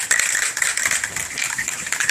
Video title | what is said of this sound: How To: Plasti Dip Rub Strips/Trim - MK4 Jetta | shake the can vigorously until you can hear the ball rolling around there pretty freely